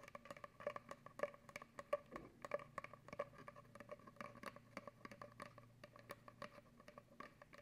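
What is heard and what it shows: An empty, hollow brown cardboard paper towel tube about 25 cm long is held up by hand and scratched and tapped with long acrylic nails near a microphone that is not touched. Quiet, quick, irregular taps and dry scratching fill the clip. Each tap gives a short, hollow resonant tone around 590 Hz that dies away almost at once.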